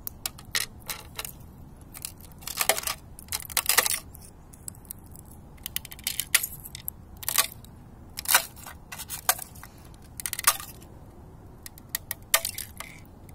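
Bare fingertips tap, press and break the edge of a large, flat sheet of thin, cracked ice lying on the ground outdoors, with leaves and debris frozen in and broken shards at its edges. Short, bright crackles, snaps and crunches come in irregular clusters, each dying away almost instantly. Quiet gaps separate them, with very little low end.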